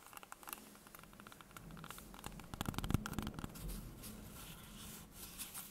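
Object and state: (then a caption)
Green apple. A whole, solid, fist-sized green apple is held in the hands above a wooden table and tapped and scratched with long painted fingernails. Quick, irregular soft taps and scratchy rubs sound close and dry, with a dull low thud under a faint bright crackle. The tapping grows busier and louder around the middle before settling back to quiet scratching.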